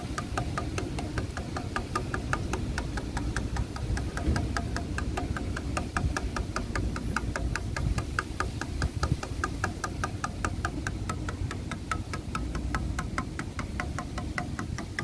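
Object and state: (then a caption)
Weathered wooden bench slats. Grey, cracked, weathered solid wooden bench slats are tapped rapidly with fingertips and nails, giving a steady stream of short, dry knocks with a clear mid-range click. A continuous low rumble sits underneath throughout.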